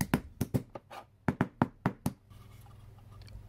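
A black mallet repeatedly knocks on a thin panel of a small, empty, hollow laser-cut MDF box with finger joints, held flat on a cutting mat, to seat the joints. A quick series of dry, short, low knocks with almost no ring is heard, some softer than others. After the knocks, a faint low steady noise continues while the assembled box is held.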